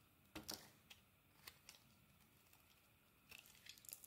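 A metal craft blade scrapes and carves thin curls off the surface of a hand-sized solid blue bar of soap held in the palm, with shavings piling up around it. Short, dry, crisp scraping strokes with a bright, high-pitched crackle come in scattered bursts over a quiet background, heavier at the start and end.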